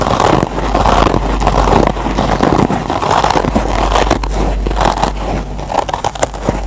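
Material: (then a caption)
Nylon, foam. Fingertips and short nails scratch the green nylon scour layer of a single Scotch-Brite kitchen sponge with yellow foam. The result is a dense, irregular run of dry, crackly scratching and rasping over a steady low rumble.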